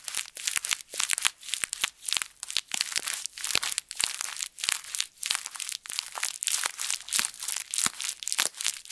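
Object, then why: Thin plastic bag. A thin plastic bag is twisted and squeezed between both fists, making continuous crisp crinkling. The sound is bright and high, with a dense run of sharp crackles and almost no low end.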